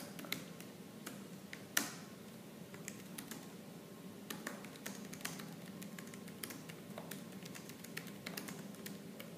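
Both hands type rapidly with fingertips and nails on a laptop keyboard with black plastic keys. The result is a fast, continuous stream of short, bright plastic clicks and taps, with one louder sharp click near the two-second mark, over a steady low background hum.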